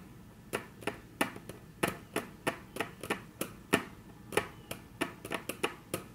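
Very long natural nail tips tap on a flat, solid, dark brown wood-grain tabletop, making 18 short, crisp clicks at an uneven pace. Each tap has a bright attack and dies almost at once over a quiet background.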